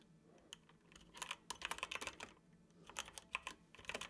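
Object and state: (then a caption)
Plastic computer keyboard. Fingertips of both hands tap the keys of a dark plastic computer keyboard while typing. Quiet, bright, dry clicks come in quick bursts separated by short pauses, each keystroke ending almost instantly.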